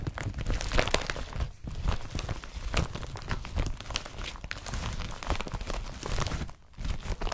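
Hands crumple and rub the fabric and straps of an empty blue IKEA BRATTBY carrier bag made of woven polypropylene. The result is a steady, dense stream of crinkling and rustling with many short, crisp bursts and a heavy low-end rumble. There are brief quieter pauses near 1.6 and 6.6 seconds.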